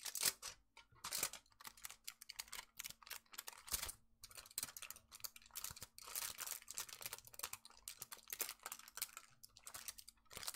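A thin, crinkled sheet of aluminium foil with an embossed pattern is held in both hands while fingertips crumple and crinkle it close to the camera. Dense, bright crackling comes in quick bursts throughout, with sharp snaps and little low end, over a faint steady hum.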